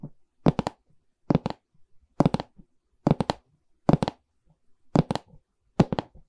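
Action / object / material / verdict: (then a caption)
tap / pine stretcher frame with canvas / pine wood / none. Long red nails tap and scratch the wooden side bar of a medium, hollow pine canvas stretcher frame with a canvas back. Seven quick bursts of two or three dull, hollow taps each fall at a steady, unhurried pace. Faint scratching sounds between the bursts, and each tap dies away almost instantly.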